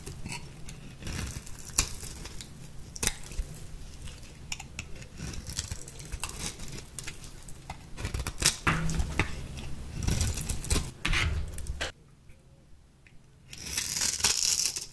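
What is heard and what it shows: A small metal blade shaves and scores the surface of a light green, solid, dry bar of soap held in the hand. It makes a steady run of dry, crumbly scraping with frequent sharp ticks and brief bright cuts over a low rumble. After a short near-silent pause, a louder, bright scraping burst closes the clip.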